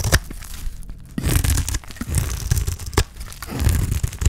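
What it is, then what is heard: Dry olive soap bar. A utility knife blade shaves and cuts a solid rectangular bar of dry green olive soap held in the hand, peeling curls of soap off onto a pile of soap shavings. Dry, crunchy scraping and tearing strokes come in bursts with sharp crackling snaps, heavy in low rumble with bright crisp edges.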